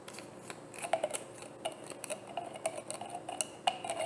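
A hollow frosted white plastic bottle is held and tapped on its label side with long painted nails. It makes a quick, irregular series of light, clicky taps with a hollow tone around 715 Hz and bright edges, each dying away almost at once.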